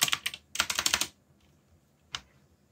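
Fingertips type continuously on a backlit mechanical keyboard with plastic keycaps, producing a quick burst of bright, clicky keystrokes that cluster in two runs. After a short pause comes a single isolated key press. The clicks are sharp and high, with almost no low end and very short decay.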